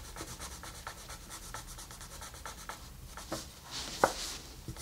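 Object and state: Colored pencil shading on paper.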